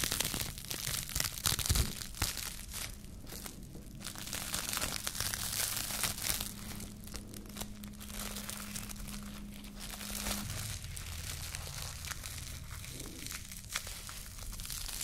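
A small wad of clear plastic cling film is held in both hands while fingertips and long nails crumple, pull and crinkle it. The result is a dense, irregular stream of bright crackling and rustling over a steady low hum.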